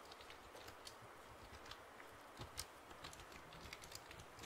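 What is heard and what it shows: A full-size black plastic computer keyboard with a hollow body is held upright in front of the mic while fingertips and nails tap and press its keys. About a dozen soft, quick clicky taps stand out over a low hiss, each dying away almost instantly with a bright, hollow plastic tick.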